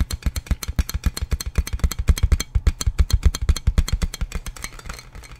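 Fingertips tap and scratch a large, clear plastic inflatable air-column packaging bag with hollow air-filled tubes while it is held up. About forty quick, dull, low thumps come in an uneven, rapid patter, each dying almost instantly. The taps soften toward the end into a faint scratchy rustle.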